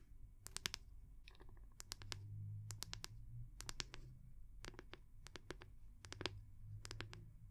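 Long nails tap and scratch the back of a small oval solid-wood brush with a rope loop. Quick, dry, bright clicks come in rapid clusters with short scratchy strokes between them, over a low steady hum. Each tap stops dead with no ring.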